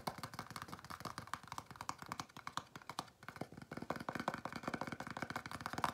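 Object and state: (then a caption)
Empty cardboard box, hollow. Fingernails scratch and tap a small, empty, hollow white printed Domino's cardboard dessert box held in the hand. Quiet, dry, hollow taps fall in a quick, uneven stream with a scratchy texture, dip briefly just past the midpoint, then pick up again. Each tap dies away almost instantly.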